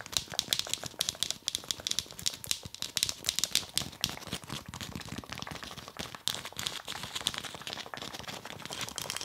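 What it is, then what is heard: Foam massage ball tapped with nails. A black speckled foam massage ball is held in both hands and tapped rapidly with long nails. The result is a dense stream of fast, crisp, dry clicks, bright and high-pitched, with almost no ring after each tap.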